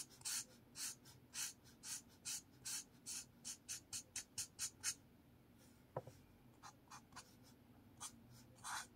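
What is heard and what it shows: A blue marker scratches long strokes across a sheet of lined paper in a spiral notepad, making 19 quick, bright, dry scratching sounds. The strokes come in a fast, uneven run for about five seconds, then turn sparser and quieter after a short pause. One sharper tap with a little low body lands near the six-second mark.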